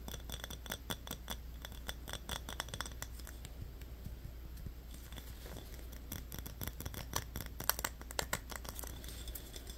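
Fingernails rapidly scratch and tap the top of a yellow metal twist cap on a small glass Yoo-hoo bottle. The result is a dense stream of short, crisp, bright clicks and scratchy ticks that barely ring, with a few sharper taps standing out near the end. A steady low hum runs underneath throughout.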